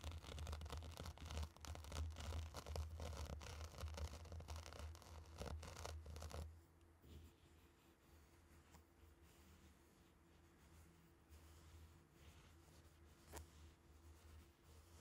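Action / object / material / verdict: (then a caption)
scrape / tray of fine sand stirred with wooden sticks / sand / none. Two round wooden sticks are pushed and stirred through a tray of loose, dry, fine pink and orange sand, producing dense scratchy scraping and swishing of the grains over a steady low hum. For the first six and a half seconds the scraping is busy and loud, then it drops to a quieter, softer shuffling with occasional light scratches for the rest of the clip.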